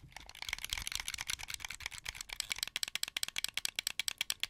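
Fingertips and nails press and click the buttons, triggers and thumbsticks of a hand-held, hollow, translucent blue plastic Xbox 360 wired controller. A dense flurry of bright, dry plastic rattling clicks gives way to sharper, evenly spaced individual clicks, each dying away almost instantly.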